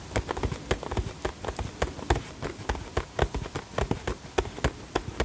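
Fingertips and nails tap the sides of a small, hollow, printed cardboard box with a flower design held in both hands. About 22 quick, uneven taps are heard, each a short dull hollow thud with a light bright click from the nails. The taps die away almost instantly, leaving no ring.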